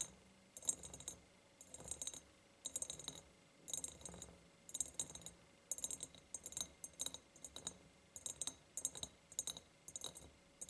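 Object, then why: Ribbed glass jar. Long painted nails tap and scratch a large, empty ribbed glass jar tied with a ribbon. Quick clusters of bright, dry clicks come in repeated bursts, with soft scratchy rasps between them. Each tap dies away almost instantly, with very little low end.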